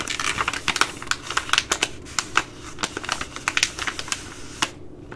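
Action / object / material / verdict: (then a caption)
tap / plastic laminate pouch / plastic / none. Long nails scratch and tap a Ready Rice plastic laminate pouch, first held and then lying on the table. Quick, dry, bright clicks and scratchy ticks fire in a rapid, uneven stream with almost no ring. The tapping drops away briefly near the end.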